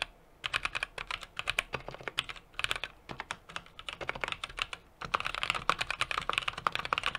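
A small 60% mechanical keyboard with an aluminum case, brass plate and plastic keycaps is typed on rapidly with the fingertips of both hands. The result is a dense run of short, bright, clacky key taps with brief pauses near the start and around the five-second mark. Typing resumes slightly louder for the final stretch.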